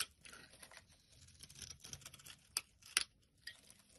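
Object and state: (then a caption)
Bar soap being scraped. A blade scrapes flat flakes off a solid pale-yellow bar of soap held in the hand. The sound is a quiet, bright, crackly patter of short scratchy bursts, with a few sharper crisp snaps near the end.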